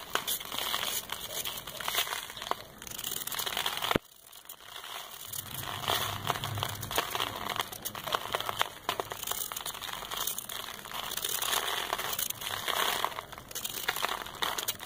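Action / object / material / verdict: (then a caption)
scrape / compacted sand ball scraped with a metal blade / sand / none. A solid, compacted brown sand ball held in the hand is scraped with a metal knife blade, and dust falls onto paper. Dense, gritty, crinkling scrapes fill the clip with bright, hissy texture, breaking off abruptly at about four seconds into a brief lull before the steady crumbling scrape resumes to the end.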